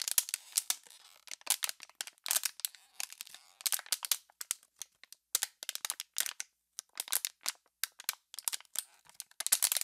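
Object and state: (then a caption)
Crumpled plastic water bottle. An empty, hollow, crumpled clear PET water bottle is crushed and twisted by hands, giving rapid bursts of sharp, bright plastic crackles. The crackles come in dense clusters separated by brief silences and die away almost instantly, with no low-end body.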